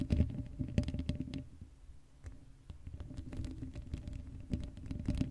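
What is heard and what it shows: Long acrylic nails scratch the hollow black metal mesh grille of an uncovered Blue Yeti microphone. The result is close, muffled, low-heavy rasping and scraping in uneven bursts over a faint steady hum, with a quieter stretch in the middle before the scratching picks up again.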